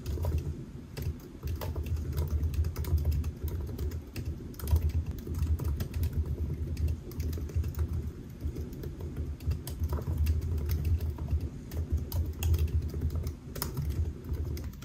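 Fingertips of both hands type steadily on the black plastic keys of a silver aluminium laptop resting on a white desk, producing a continuous stream of short, dull taps. The sound is dominated by a low, muffled thump under the clicks, with brief bright transients, and each tap dies away quickly.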